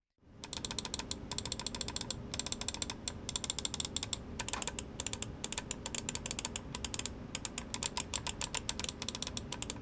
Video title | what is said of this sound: Rakk Talan AERO Review - Hotswap Battery! - TAGALOG | Walang squeaking sounds at walang umaalog.